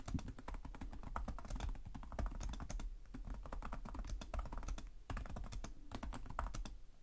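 Fingertips with short nails type continuously on the plastic chiclet keyboard of a black laptop resting on a desk. Rapid key taps produce a dense, steady stream of short clicks with a soft, low thud beneath each one. The brisk typing runs for about seven seconds, with a brief lull near the five-second mark.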